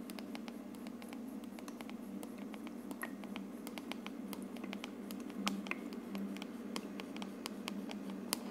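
Long red nails tap rapidly on the translucent dome of a hollow plastic aroma diffuser, which is running with mist and a color-changing light. Quick, dry, bright clicks with no ring sit over the diffuser's steady low hum.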